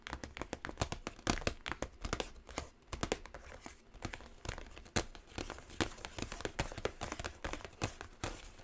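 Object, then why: Small cardboard gift box. Long nails tap and scratch the surface of a small, hollow, gold quilt-textured cardboard gift box with a ribbon handle. The result is a steady stream of quick, dry, crisp taps mixed with soft scratching, each tap dying away almost instantly.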